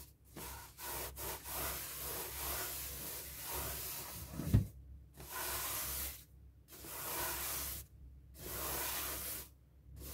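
A paper tissue rubs briskly over the rubber surface of a hollow, light blue inflated latex balloon held in hand. It makes a series of dry, hissing swishes separated by short pauses, over a low, hollow hum from the balloon's body. One sharper, louder squeak-like bump stands out partway through.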